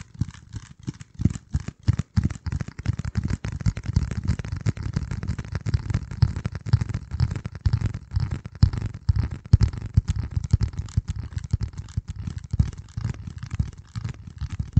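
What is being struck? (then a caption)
Corrugated cardboard piece. Fingertips scratch and tap a flat, hand-sized piece of dark corrugated cardboard close to the microphone. The result is a dense, uneven run of soft, muffled scrapes and dull taps, mostly deep and low in tone, with no ringing after each touch.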